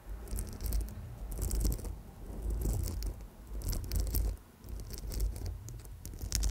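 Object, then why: Amethyst chip bracelet on coiled wire. Long nails gently scratch and tap small purple amethyst chips on a gold-tone coiled wire bracelet. Bright, crunchy scratching and light clicking come in uneven bursts over a low, dull rumble.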